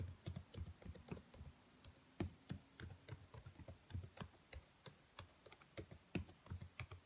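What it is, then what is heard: Plastic laptop keyboard. Long nails tap the black plastic keys of a dark laptop keyboard in an irregular stream of about 27 quick, separate taps. Each tap is a soft low thunk with a brief bright click on top that dies away almost at once.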